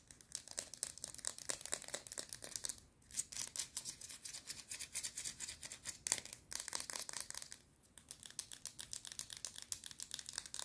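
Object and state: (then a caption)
Plastic highlighter pen, nail tapping. Long red nails rapidly tap and scratch the hollow barrel of a small plastic highlighter pen with a popcorn-box design and a black cap. The result is a dense run of bright, dry clicks and scratchy rasps with almost no low end, broken by a few brief pauses.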